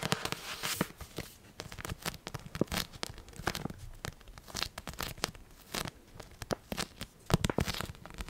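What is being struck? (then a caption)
Paperback book with glossy card cover. Long painted nails tap on the glossy card cover of a solid Order of the Phoenix paperback book. The taps are rapid, irregular, sharp and clicky, with a bright crackle and almost no ring. They come in quick bursts between brief quiet gaps.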